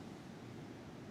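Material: Nothing is struck.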